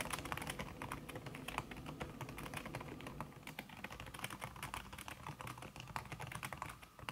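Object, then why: Laptop keyboard with silicone key cover. Fast typing by long-nailed fingertips on a backlit laptop keyboard in a silver aluminum body, its keys covered by a thin red silicone skin. Quick, soft, muffled taps with short bright clicks follow each other in a dense, steady stream, each dying away almost at once over a low rumble.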